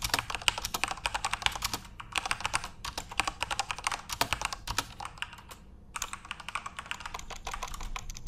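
Fingertips type continuously on a backlit plastic Corsair mechanical RGB keyboard, producing a rapid, steady stream of short, bright clicks and clacks with a faint low thump beneath. The typing briefly slows and nearly pauses just before the six-second mark, then resumes at the same pace.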